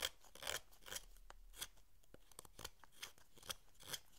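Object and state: Hinoki cypress wood block being carved.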